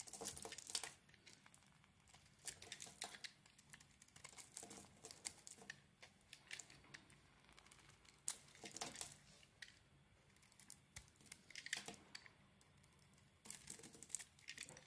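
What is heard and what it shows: A metal blade scrapes and shaves a solid oval soap bar with a red outer layer and a pale green core. The result is a quiet run of crisp, bright scraping and crinkling bursts with very little low end, each cut short and dry with almost no ring.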